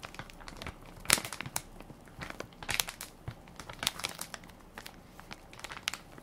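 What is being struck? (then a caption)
Soft plastic film wipes pack. A hand-sized, full and plump Equate baby wipes pack of soft plastic film with a hard plastic flip lid is held in one hand while the fingertips and nails of the other hand press and crinkle the film near the lid. The result is quiet, bright, dry crinkling made of many short, sharp crackles, with a few louder bursts standing out.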